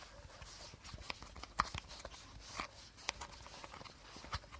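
Short fingernails tap and scratch along the body of an empty, hollow clear plastic bottle with a teal cap, held sideways. Sharp, brief clicks with a hollow ring around 1.2 kHz stand out over a soft, steady scratching rustle.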